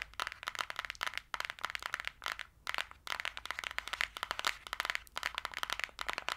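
Long dark-green acrylic nails tap and scratch fast on the cover and edges of a small, flat, closed, green printed cardboard eyeshadow palette held in the hand. Rapid, dry, bright clicks and scratchy crackles come in dense bursts with brief pauses, each click ending almost instantly.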